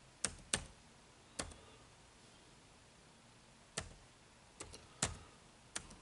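Fingertips tap sparse keys on an HP laptop keyboard with dark plastic keys. Each press is a short, bright plastic click that dies away almost instantly, spaced irregularly over quiet pauses.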